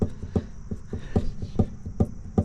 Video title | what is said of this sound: coilover adjustment after installation on my cl500 | if I shake it back and forth, you can hear that thud sound. So I can hear that over certain bumps.